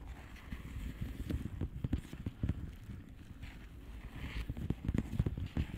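Long fingernails of both hands tap and scratch a flat blue plastic bubble wrap padded envelope with air-filled bubbles. Soft, dull taps fall in an irregular, quick rhythm over a faint rustling scratch. The sound is low and muffled, with very little brightness and no ringing after each touch.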